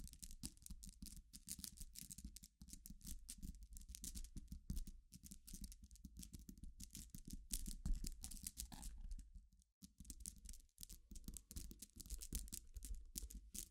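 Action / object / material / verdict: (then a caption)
scrape / pile of glass pebbles / glass / none. Long nails scratch and tap across a dense pile of glass gems resting on black fabric. The result is a steady stream of quick, bright clicks and scratchy rattles over a constant low hum, with a brief drop-out just before the 10-second mark.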